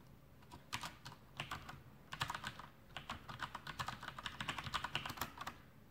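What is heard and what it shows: A full-size black plastic Masterkeys Pro M mechanical keyboard with Cherry MX Brown switches and blue backlit keycaps sits on a desk while the fingertips of both hands type on it continuously. A steady stream of quick, bright plastic clacks comes in bursts of varying loudness, each keystroke short and dry with a light thud beneath.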